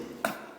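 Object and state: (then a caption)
Hollow partition wall. A single tap on a room-dividing partition wall made of double plasterboard with a honeycomb core. It gives a short, hollow knock with a mid-pitched tone that dies away quickly, which is normal for this kind of wall.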